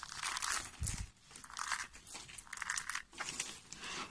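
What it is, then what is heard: Dry soap flakes crushed by hand. Hands with short nails squeeze and crunch a heap of brittle, pale yellow dry soap flakes in the palm. Dense, bright crackling crunches come in overlapping bursts, with a brief low thump near the start. The sound fades into softer crinkling between the squeezes.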